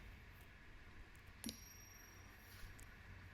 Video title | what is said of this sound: Commande Test - 20 Francs Coq chez "Or et change" | et ça sonne bien comme de l'or